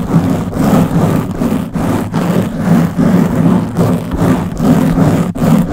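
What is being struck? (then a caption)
Foam microphone windscreen. Long blue-painted nails on both hands scratch a black, round foam windscreen covering the head of a Blue Yeti microphone. The result is a steady, loud, rough scratching that swells and fades in uneven strokes at about two per second. The scratching is dense and heavy in the low range, with a muffled rubbing texture.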